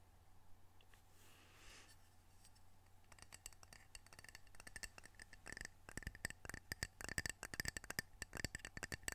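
Fingernails tap the glazed face of a small, solid, square ceramic coaster printed "Edmonds Washington," held in the hand. After about three quiet seconds with a faint low hum, rapid, crisp clicks begin and grow denser and louder toward the end, each with a short, bright ring near 1.8 kHz that dies away almost instantly.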